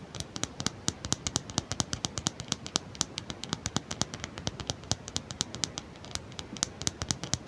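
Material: Plastic.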